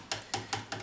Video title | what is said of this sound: Antique Clock Restoration - The Complete Job - Part 1, what does it need? | when you're tapping them you can hear the sort of vibration when there's a loss of glue